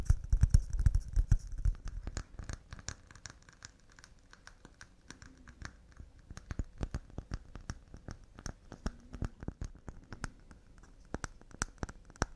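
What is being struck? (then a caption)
Pine wooden cups. Wooden cups made of pine are tapped quickly and delicately, producing a rapid, uneven patter of short, dry clicks. A denser, heavier run of taps with a low thump fills the first two seconds, then the taps turn lighter and more scattered, each dying away almost instantly.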